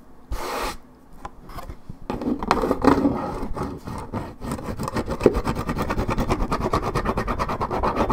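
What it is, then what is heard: Paperboard juice carton scratched. Long nails scratch hard at one spot on a 1.75 L Minute Maid paperboard orange juice carton, scraping the coating off the cardboard. A few scattered rasps and a brief hiss give way to a steady run of fast, dry scratching strokes with a low, papery texture.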